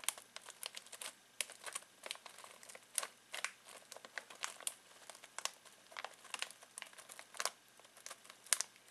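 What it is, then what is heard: Crinkling foil-plastic snack bag. Fingertips scratch and crinkle a full foil-plastic snack bag of pistachios. Quiet, bright, dry crackles and rustles come in quick, uneven bursts for about nine seconds. Each snap stops almost instantly with no low-end weight.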